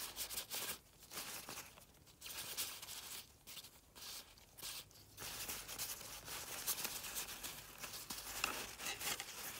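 A latex-gloved hand rubs and crumples a folded maroon nylon umbrella canopy lying on a car seat. Bright, crisp rustling and crinkling comes in bursts, separated by brief quieter gaps, with little low end.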